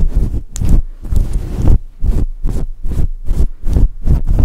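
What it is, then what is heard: Faux fur microphone windscreen being scratched. Long nails and fingertips scratch and rub a fluffy synthetic fur microphone windscreen. The result is a series of dull, low, muffled rumbling strokes that come in a steady rhythm, with almost no bright content.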